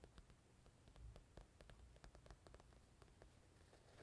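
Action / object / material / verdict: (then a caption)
tap / quilted patent-vinyl zippered carrying case / patent vinyl / none. Long painted nails tap and scratch the glossy top panel of a small, hollow, purple quilted patent-vinyl zippered carrying case with black fabric sides, held in one hand. Quiet, dry clicks and brief scratchy rustles repeat over a soft, low background hiss, each tap dying away almost instantly.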